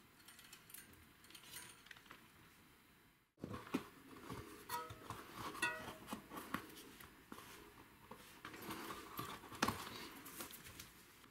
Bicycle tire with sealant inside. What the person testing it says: when I spin the wheel, there's something rattling inside